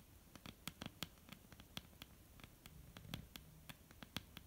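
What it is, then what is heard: Wooden tabletop. Long, almond-shaped painted nails tap and scratch across a flat, solid wooden tabletop. The result is a quick, irregular run of dry, bright clicks with soft low knocks under them and faint scratching between the taps. It is quiet overall, and each tap dies away almost instantly.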